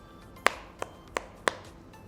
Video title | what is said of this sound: Poco X3 hands-on review & unboxing - big, brawny, & boisterous - camera samples & benchmarks inside | that weird hollow plastic sound that the phone makes when I tap on its back